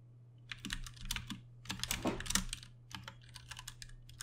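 Both hands tap with their fingertips on a Ducky One 2 Mini, a compact 60% RGB-backlit mechanical keyboard with plastic keycaps and Cherry MX Brown switches, resting on a desk. Quick, bright clicky-thocky keystrokes arrive in uneven bursts and short runs of typing over a steady low hum.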